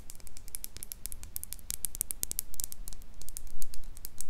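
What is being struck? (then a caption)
Glass jar mug with metal lid. Long pink nails tap and scratch a small, empty, clear glass mason jar mug with a handle and a metal lid. The result is a rapid, irregular patter of short, bright clicks and scratchy taps over a faint low rumble.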